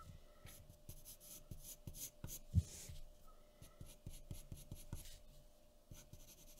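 A graphite pencil tip scratches steadily over a thin sheet of white drawing paper resting on a wooden table while shading a face. Soft, dry scratching strokes repeat in quick succession, with a low papery body, faint bright hiss on each stroke, and one slightly firmer stroke partway through. The overall sound stays quiet and close.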